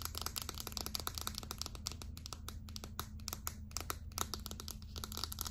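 A small, hollow, light-blue Secret plastic deodorant stick is held up and tapped and scratched with long acrylic nails. Rapid, crisp clicks and dry scratching sound over a steady low hum, with the clicks bright and dying out almost instantly.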